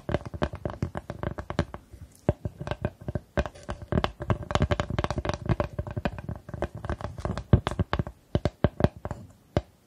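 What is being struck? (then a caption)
Plywood star cut-out. Long nails rapidly tap and scratch across the surface of a flat, solid, light plywood star cut-out with grooved lines, held in both hands in front of the microphone. The result is a dense, uneven stream of short, dry, woody clicks and scrapes with a low, hollow body and almost no ring, broken by a few brief pauses.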